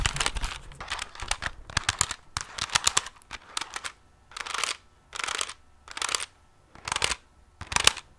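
Fingertips and nails tap and scratch the keys, edges and back of a handheld plastic pocket calculator with a hollow casing. The first half is dense, quick, bright clicky tapping. It gives way to five separate, evenly spaced bursts of hissy scratching, each about half a second long.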